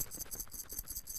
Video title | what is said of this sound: Thomas Mlambo, host of sport @ 10 interviews Paralympic medalist Dyan Buis | let's hear the gold medal it is much louder